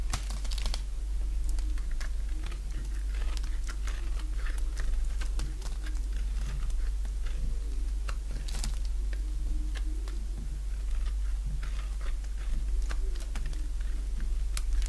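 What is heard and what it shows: A solid bar of dry yellow soap is held in the hand and shaved with a box-cutter blade. Quick, crisp scraping and cutting ticks with bright edges repeat throughout, over a steady low hum.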